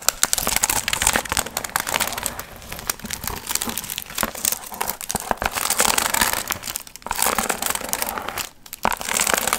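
Long nails scratch and rub the gold foil fringe of a hollow, pumpkin-shaped piñata, producing a steady stream of bright, crisp crinkling and rustling. The sound runs nearly continuously with brief pauses near 7 and 8.6 seconds.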